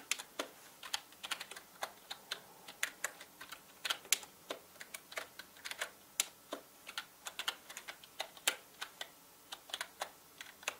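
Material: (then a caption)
Plastic. A full-size black plastic mechanical gaming keyboard with plastic keycaps is typed on steadily with the fingertips of both hands. Quick, bright, clicky keystrokes come at an uneven pace with no low-end thump, and each one dies away almost instantly.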